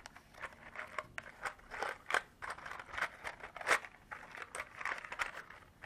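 Long artificial nails tap and scratch the sides and lid of a small clear hard-plastic container partly filled with small cream-colored beads. The result is an irregular run of crisp, dry clicks and short scraping crinkles, bright and centered in the upper mids with almost no low end. Each hit dies away almost instantly.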